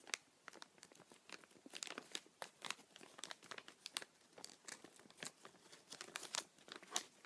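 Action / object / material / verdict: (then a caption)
scrape / thin plastic bag / plastic / none. A small, empty, transparent thin plastic bag is held in both hands while the fingers crumple and rub it. This makes a quiet, continuous stream of sharp, bright crinkles and crackles with almost no low end. Each snap dies away almost instantly.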